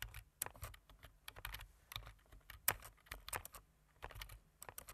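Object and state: Plastic computer keyboard.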